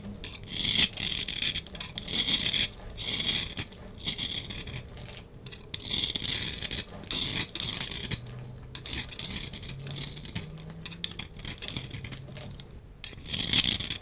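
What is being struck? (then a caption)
Bar of soap scraped with a knife blade. A solid oval dark grey bar of soap is held in the hand and scraped and carved with a utility knife blade. Bright, dry rasping scrapes come in repeated bursts, with quieter pauses between strokes and a faint low hum in the background.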